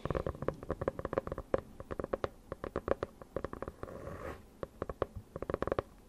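Long nails rapidly tap and scratch the cover and edges of a closed hardcover notebook with a dark faux-leather cover, held close. The crisp, dry taps have a hollow midrange knock, with a brief smoother scratching stretch in the middle before the tapping resumes.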